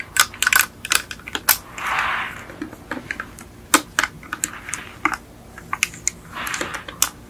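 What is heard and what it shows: Long acrylic nails tap on the doors and roof of a small yellow die-cast Beetle model with a hollow painted metal body. Quick, bright, dry clicks come in an uneven rapid series with almost no ring, broken by three soft, breathy swells of hiss.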